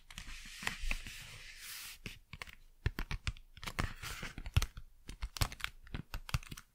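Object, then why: Cardboard packaging. Fast, crisp tapping on cardboard packaging. It opens with about two seconds of dry, broadband scratching and rustling, then breaks into quick, sharp taps with dull low thumps and bright clicks that stop short with almost no ring.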